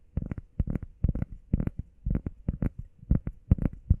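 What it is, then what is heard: Foam pad tapped with nails and fingertips. Long painted nails and fingertips tap and scratch fast on a flat, solid, hand-sized grey textured EVA foam workout pad shaped like a heart. The sound is quick clusters of soft, dull, low thuds with no ring.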